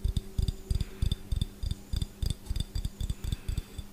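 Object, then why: Glass jar with metal screw lid. Fingernails tap and scratch the gold metal screw lid and the glass of a clear, handheld glass jar that appears empty. About 19 fast, uneven taps sound as dull, low knocks with short bright clicks on top, each dying away almost at once.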